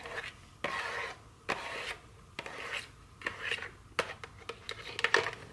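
Very long fingernails scratch and rub the surface of a small, full, rectangular cardboard candy box of dark chocolates with its plastic wrap removed. Dry, raspy scraping strokes come in bursts with quiet gaps between them. Sharper, brighter clicks and taps cluster toward the end.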